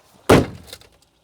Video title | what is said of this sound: I Paid £100 For This 'Barn Find' Proton Saga Iswara - How Bad Could It Be? | apabila anda menghempas pintu penumpang oh ada beberapa karat yang bagus bergolek di sana juga